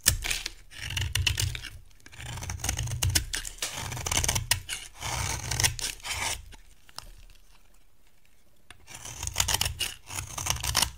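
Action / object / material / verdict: scrape / bar of cream soap shaved with a metal blade / soap / none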